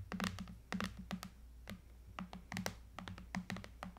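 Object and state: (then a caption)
Aluminium and glass tablet tapped with nails. Long nails tap and scratch quickly along the top edge and bezel of a silver iPad lying flat, a thin solid tablet with an aluminum frame and glass screen. Quick, dry clicks and short scrapes come in uneven bursts, each dying away almost at once, over a low, steady hum.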